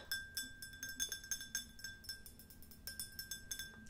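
A tall, clear, hollow, empty glass drinking tumbler, held in one hand, is tapped with long nails in a quick, uneven series of bright clinks. A faint steady ring lingers beneath the taps throughout.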